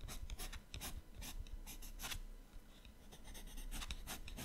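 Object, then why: Colored pencil on paper sketchbook page. A yellow colored pencil shades the right page of an open paper sketchbook with rapid strokes. A quiet, continuous scratchy rasp of pencil rubbing on paper comes in quick bursts of bright hiss over a low rumble.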